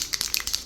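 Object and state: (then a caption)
Aerosol paint can with mixing ball rattling freely. A metal aerosol rattle can of spray paint, used for painting a bumper, is shaken so the mixing ball inside rattles freely. A series of quick, bright metallic clicks and rattles is heard, almost entirely high-pitched with little low end. The free-rattling ball is normal and shows the paint is loosening; the can is to be shaken for at least 2 minutes to mix it.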